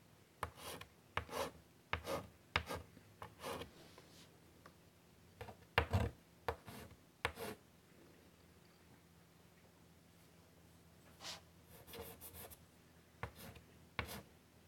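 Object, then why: Chalk stick on a wood-framed chalkboard. A white chalk stick draws lines near a butterfly on a large, flat, wooden-framed chalkboard, making short, scratchy rubbing strokes. The strokes come in quick bursts, pause briefly in the middle, then resume, over a faint steady low hum.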